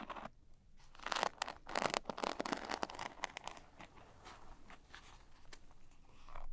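A small zippered cosmetic pouch with a textured glitter surface is turned in the hands while long nails scratch and tap its glitter sides. The result is a run of dry, crunchy, crinkling scratches and taps, bright and brittle, with denser bursts in the first few seconds before settling into lighter rustling.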